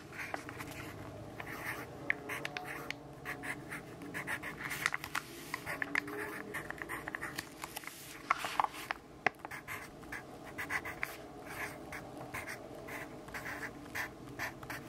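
A yellow graphite pencil writes fast, dense strokes across the page of an open grid-paper notebook resting on a wooden desk. The result is a continuous dry, bright scratching with quick, sharp accents where strokes press harder.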